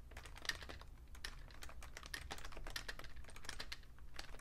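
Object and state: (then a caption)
Plastic computer keyboard. Fingertips with short painted nails tap the keys of a vintage beige plastic Fujitsu Siemens full-size keyboard with a hollow case, lying on a red cloth. A fast, steady stream of light, bright clicking taps sounds over a low, constant rumble, each tap dying away almost at once.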